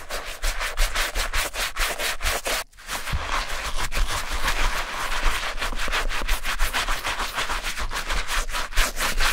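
Gloved hands scrub an old light beige Clarks suede leather shoe upper covered in shampoo foam with a wooden-handled bristle brush. Quick, steady, wet bristly rubbing strokes with a foamy hiss carry on throughout, pausing briefly just before the three-second mark before resuming at the same pace.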